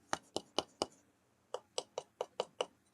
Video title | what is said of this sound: Cube construction twitch vod 8/11/25 | It's hollow. Unbelievable. This is hollow.